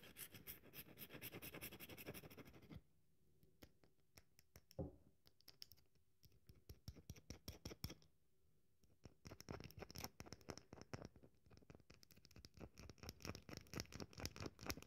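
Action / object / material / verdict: scrape / bar of soap scratched with fingernails / soap / none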